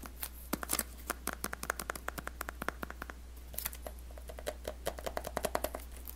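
Fingertips and nails tap and scratch the smooth printed surface of a small, rigid, closed white cardboard iPhone X box, held in both hands and turned over. Dozens of quick, dry clicks and taps ring briefly over faint scratching, all above a steady low hum.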